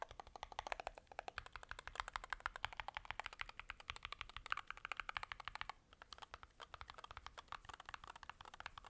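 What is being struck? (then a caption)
Aluminum-case mechanical keyboard with plastic keycaps. A 65% Varmilo Muse65 keyboard with a blue aluminum case, white, purple and mint plastic keycaps and magnetic switches sits on a carpet mat and is typed on by both gloved hands, pressing the keys with the fingertips. Fast, steady typing produces a dense stream of short, crisp clicks with a clacky tone centered around 1.3 kHz and a little bright top end. There is a brief lull near the six-second mark before the typing picks up again.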